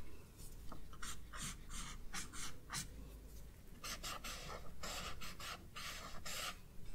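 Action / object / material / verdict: scrape / pencil on paper sketchbook page / paper / none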